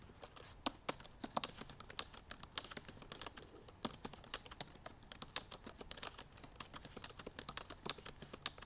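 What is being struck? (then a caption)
Laptop keyboard, plastic keys. Long purple nails tap the black plastic keys of a silver aluminum MacBook Pro while typing quickly. The result is a rapid, uneven stream of light, bright clicks and taps, each very short with almost no low end or ring.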